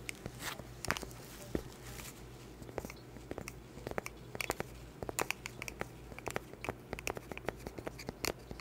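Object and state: Cork board tapped and scratched with nails.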